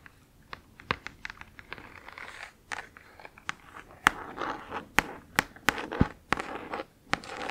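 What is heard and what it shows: Long acrylic nails tap and scratch across the front lid of a flat, printed cardboard Spirograph game box lying on fabric, hollow with its contents inside. Many sharp, dry clicks with bright tips cut short almost instantly, separated by papery scraping and crinkly rustle. The sound is mostly midrange, with a few harder taps standing out above the quieter scratching.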